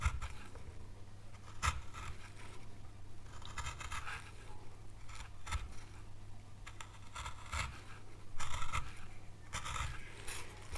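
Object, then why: Small pale wood panel. A gouge scrapes a small, solid, pale wood carving board along the edge of a carved oak leaf. It makes repeated short, dry scraping strokes with a bright, crisp texture, over a faint steady low hum.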